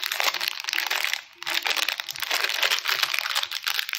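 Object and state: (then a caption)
Plastic cookie wrapper. Fingertips crinkle and squeeze a small red plastic-film wrapper from a Choco Lava chocolate chip cookie pack, held full with the cookie inside in both hands, twisting or pulling it open during unpacking. A dense, bright crackling crinkle runs nearly the whole time with no low rumble, pausing briefly just past the one-second mark before resuming.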